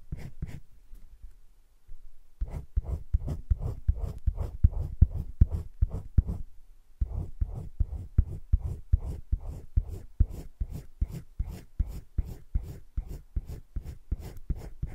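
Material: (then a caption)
Paper. A teal colored pencil tip scratches in small strokes inside a droplet shape on thick cream drawing paper in a spiral-bound drawing book lying flat, held by a hand. The strokes come as quick, short, dry scratches in a steady rhythm of about two to three per second, with brief pauses near the start and middle.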